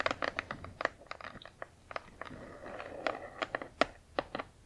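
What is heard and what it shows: Long acrylic nails tap and scratch a large, flat cardboard Spirograph toy box, first along its narrow side edge and then across the printed back face. The sharp, dry clicks have a bright edge, and around the middle a steadier scratching rasp fills the gaps between them.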